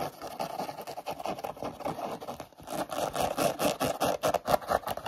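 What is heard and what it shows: A hollow, empty pink knit-mesh sneaker with laces, held up close, is scratched and rubbed fast with short natural nails and fingertips. The result is a dense, chaotic stream of rapid scratchy strokes, centered in the mids with a dry, papery texture. It pauses briefly midway, then comes back louder and more aggressive.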